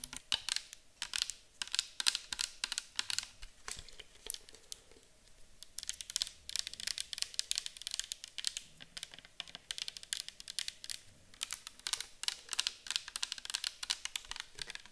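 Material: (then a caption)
Plastic. Long acrylic nails tap the bottom and sides of a clear plastic micellar water bottle, full of orange liquid and held on its side. The result is a steady stream of quick, bright plastic clicks that die away almost instantly, with very little low end.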